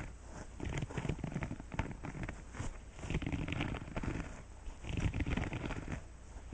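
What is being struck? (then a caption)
Silicone scrubber pad. Fingertips and nails scratch and flick the longer bristles and rows of nubs on a green silicone scrubber pad. The result is a dense, soft crackling and rubbing texture, mostly low and muffled with very little brightness. It swells and dips in uneven bursts.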